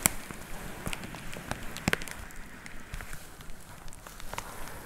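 Long nails tap on a white plastic poly mailer with a box inside, producing sharp, crackly plastic clicks with bright edges. The taps come irregularly over a soft, low crinkling rustle, with the loudest at the very start and near the two-second mark.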